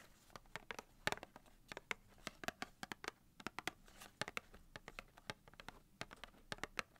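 Long painted nails scratch and tap the front label of a small cardboard box of 250 wooden matches held in both hands. About thirty sharp, dry, bright clicks and taps stand out over a faint, scratchy rustle, each dying away almost instantly.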